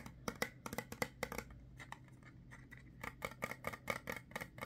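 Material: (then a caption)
Plastic. Fingernails tap and scratch a small white plastic cream tube with a label as it is turned in the hands. Quick, sharp plastic clicks come in bursts, broken by a quieter stretch of soft scratching in the middle before the tapping picks up again. The clicks are bright and dry, with no ring after each tap.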